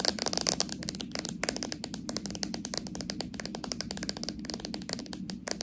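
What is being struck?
Small plastic jar with metal lid.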